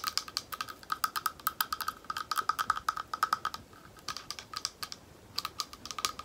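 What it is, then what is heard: Glass bowl tapped with nails. A small, thick, clear glass bowl, hollow and empty, is tapped rapidly with long nails, giving about 43 quick, bright clicks with a faint ringing tone near 1.3 kHz. The taps come in uneven bursts with short pauses around 3.6 and 5 seconds, and each one dies away almost instantly.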